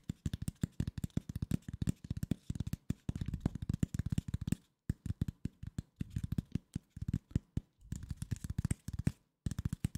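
Fingertips and nails scratch and tap the surface of a flat corrugated cardboard sheet held in both hands close to the microphone. The result is a rapid run of dozens of short, dry, low-pitched taps, heavy in the low end, with softer scratchy stretches between bursts and a few brief silent pauses.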